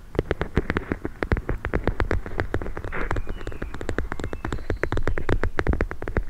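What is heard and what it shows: A hand-sized, soft, filled clear plastic pouch of teal gel beads is held, tapped and squeezed with long nails. Dozens of quick, dry taps and clicks come in a rapid, uneven stream, each with a muffled low thump and a brief bright edge. A soft squishing rustle rises between them midway.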